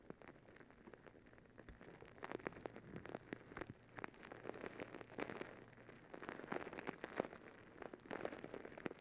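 A palm-sized blue and green squishy stress ball, a soft, full rubber skin filled with water gel beads, is held over the mic and scratched and squeezed with long acrylic nails. Quiet, dense crackling clicks and soft wet squishes patter like rain, with sharper nail taps popping out over a faint low hum.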